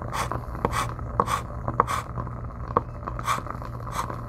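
A white chalk stick draws lines across a flat black slate-style chalkboard in a gold frame, resting solid on a wooden table, with a lapel microphone held close to the board surface. Continuous scratching and rubbing strokes come through as short bright hissy bursts and sharp squeaky ticks around 1.1 kHz. A steady low hum sits underneath throughout.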